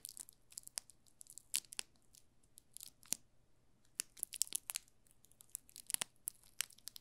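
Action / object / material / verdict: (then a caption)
scrape / soap bar in loose plastic film wrap / plastic film / none. A solid yellow soap bar in a loose plastic film wrap is held in the hands while fingertips crinkle and scratch the film. The result is a quiet stream of sharp, bright, crackling clicks and rustles that stop instantly, with a steady faint low hum underneath.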